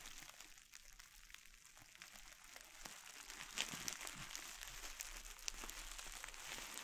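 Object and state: Plastic bubble wrap.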